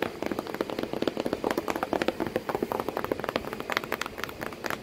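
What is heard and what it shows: Long painted nails and fingertips tap rapidly on the side of a hollow corrugated cardboard box with crumpled kraft paper inside and a cat sitting in it. About 33 quick, dry, hollow taps land in an uneven patter, centred in the low mids around 320 Hz with brief bright clicks. Each tap dies away almost at once.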